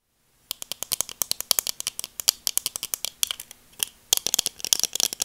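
Long dark acrylic nails tap and scratch black plastic-framed sunglasses with dark lenses, a small hollow-framed pair held in both hands close to the mic. About 35 quick, dry clicks follow one another in a steady, slightly uneven rhythm, with a brief pause partway through. Each click is bright and high with almost no low end and dies away instantly.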